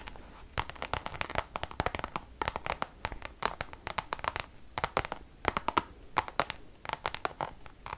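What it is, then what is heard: Coated canvas pouch tapped with fingernails. Long nails tap quickly on a Louis Vuitton pouch of Damier checkered coated canvas held close to the mic. The result is a dense run of short, dry clicks with brief scratchy sweeps, bright and crisp with almost no ring.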